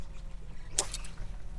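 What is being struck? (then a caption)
Plastic jerkbait lure with internal weights. A Jackall Rerange plastic jerkbait is cast, and its internal weights slide to the tail with a short, bright clunk or knock over a steady low rumble. The knock shows the bait's weight-transfer system is working well, giving long casts.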